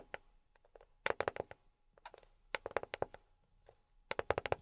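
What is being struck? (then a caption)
Box tapped with silicone rubber fingertip pads. A box is tapped with silicone rubber pads on the fingertips, producing quick, soft, dry taps with a mid-range body around 540 Hz and a faint bright click on top. The taps come in short rapid bursts separated by near-silent pauses, and each one dies away almost instantly.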